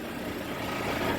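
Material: Nothing is struck.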